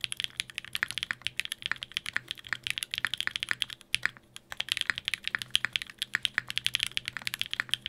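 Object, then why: Mechanical keyboard with plastic keycaps and aluminium plate. Fingertips type rapidly on a Sangeo 60, a 60% mechanical keyboard in a white case with blue and grey GMK ABS plastic keycaps, an aluminium plate and Durock POM switches. The result is a dense stream of short, bright, clacky taps with almost no low end and a brief lull around the four-second mark.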